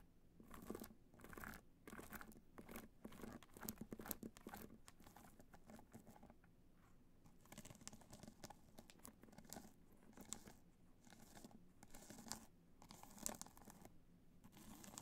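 Long nails scratch the sides and top of a hollow black hard-shell evening clutch covered in multicolor rhinestones, resting on white fur. Dense, gritty scratching and crunchy clicking come in uneven bursts with brief pauses. Sharp bright ticks ring out over a soft low rumble.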